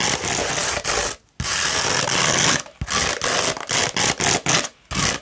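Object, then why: Coarse sandpaper sheet scratched with fingernails. A sheet of coarse beige 60-grit sandpaper, rolled into a hollow tube and held in one hand, is scratched along its abrasive surface by long red nails. The result is a dry, gritty, bright rasping in long strokes and then shorter bursts, separated by brief silences.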